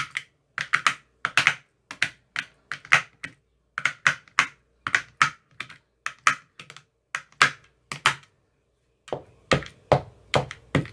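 A white-tipped metal rod taps down into the green silicone cells of an empty clear plastic ice cube tray. About 35 quick, dry, clicky taps land in short irregular bursts, bright with a hollow knock near 2 kHz, and each dies away almost instantly. There is a brief pause before the final run of taps.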